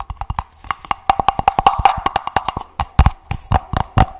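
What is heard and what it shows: Fingertips tap the sides and bottom of an empty, hollow printed paper cup with a purple base, held in both hands. About 27 quick, dry taps come in an uneven rhythm, each a short hollow knock with a low thump and a faint mid-range tone that dies away almost at once.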